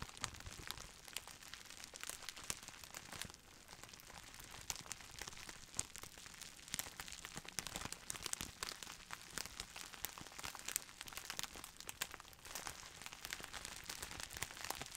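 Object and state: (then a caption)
Plastic bubble wrap being crinkled. A clear plastic bubble wrap roll with a printed sleeve and air-filled bubbles is squeezed and crinkled with the fingertips of both hands. The result is a dense, bright stream of crackling and crinkling with many sharp, short pops that stop almost at once. It continues steadily throughout, with a brief softer stretch around the three-and-a-half-second mark.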